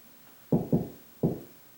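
Three knocks on a drywall ceiling to locate a joist, each a short, low, dull thud with a brief ring. The spot sounds hollow, meaning there is no joist behind it.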